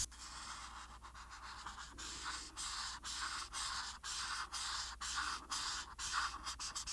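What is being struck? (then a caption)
Felt marker on a paper sheet. A felt marker tip fills in blue on a flat paper coloring sheet resting on a table. The repeated rubbing and scratching strokes come about two per second, each a bright, airy burst of broadband scratching separated by brief pauses.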